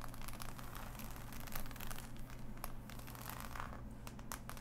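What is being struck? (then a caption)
Assembled cardboard jigsaw puzzle. Fingertips and long nails scratch and tap across the pieces of a large, flat, assembled cardboard jigsaw puzzle. A continuous dry, crinkly scratching is broken by many quick, bright ticks, all at a soft level over a steady low hum.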